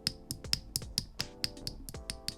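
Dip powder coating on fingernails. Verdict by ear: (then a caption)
Hardened. Dip powder nails, coated and air-dried with activator for about a minute, are tapped together to check for a hollow sound. Eleven quick, sharp clicking taps are heard, bright and high-pitched with almost no ring. The nails are hardened and ready for filing.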